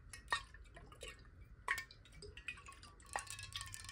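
A clear glass water bottle, partly filled with water and held horizontally in both hands, is tapped quickly with long nails. The result is a run of light, bright glassy clicks and clinks with a short ring around 1.8 kHz, with three louder, sharper taps standing out among the softer ones.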